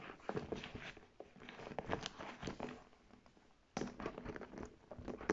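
Long nails tap and scratch the smooth panels and straps of a large, hollow brown faux leather tote bag with buckled straps and metal buckles. A quick run of soft, dry taps and scrapes fades to near silence for a moment, then starts up again louder.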